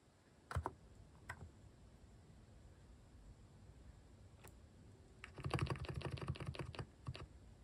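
Fingertips type slowly on a mechanical keyboard with cat-shaped plastic keycaps, producing short, dry key clicks with a soft low body. A few scattered single keystrokes come first, then a denser run of quicker clicks toward the end, over a quiet background.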